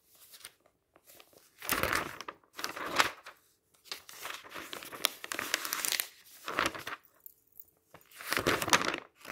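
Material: Paper.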